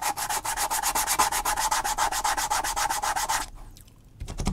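A metal awl tip scratches rapidly back and forth across a flat, thin sheet of natural vegetable-tanned leather lying on a cutting mat, making about thirty quick, dry, bright rasping strokes with a steady tone near 850 Hz. The scratching stops abruptly after three and a half seconds, leaving near silence before a few faint low thumps and scrapes at the end.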